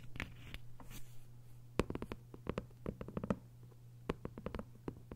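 Fingernails scratch and tap on a thick hardcover novel with a paper dust jacket, working over the cover and the page edges and spine side. Quick, dry, irregular taps come in loose clusters over a steady low hum, with soft scratching between them.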